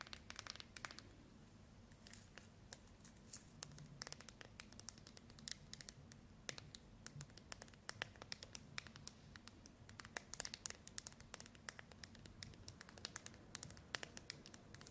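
Long acrylic nails scratch and tap the plastic back cover of a handheld white Samsung smartphone. Quick, bright clicks and scraping scratches come in dense, irregular bursts over a quiet, steady low hum, each tap dying away almost at once.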